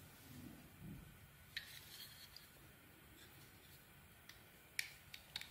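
A small metal blade cuts and scrapes the surface layer off a solid, green, embossed, palm-sized bar of soap held in the hand, exposing its cream interior. Quiet, soft scraping runs under six short, bright, crisp cuts that click and snap with almost no ring. The cuts come at an uneven pace.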